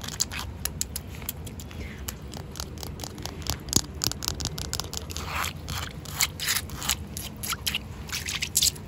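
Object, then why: Concrete paving slab. Long coral acrylic nails scratch across the rough surface of a large, solid, rain-wet outdoor concrete paving slab with joint lines. A rapid series of short, dry, bright scrapes and crackles sounds over a steady low rumble, with each stroke cutting off almost instantly and a few louder scrapes near the end.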